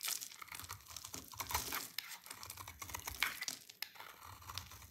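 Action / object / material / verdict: scrape / bar of soap / soap / none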